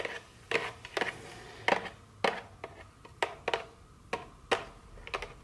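A small, full, rectangular cardboard dark chocolate candy box with its plastic wrap removed has its surface scratched and rubbed with very long fingernails. About 13 short, dry, papery scrapes stand apart, each a bright rasp centered in the midrange that stops almost at once. Soft rubbing fills the gaps between them, and the whole clip stays quiet.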